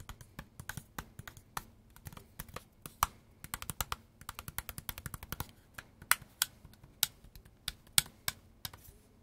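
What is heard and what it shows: Fingertips and nails tap rhythmically on the plastic housing of a dark green and black Makita power tool battery pack, held flat and then upright. The taps are quick, dry, bright clicks with almost no ring, falling in irregular bursts and varying in loudness over a faint low background hum.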